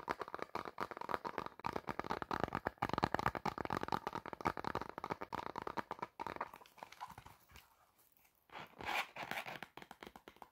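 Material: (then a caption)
Faux leather. Long black nails rapidly tap and scratch the surface of a medium, hollow black faux leather clutch with a gold metal bow and ring hardware. The result is a dense, crunchy, crinkling stream of short dry hits centered in the mid range, busiest in the first six seconds. It then thins out to softer scratching, with a brief quiet gap before a final louder burst.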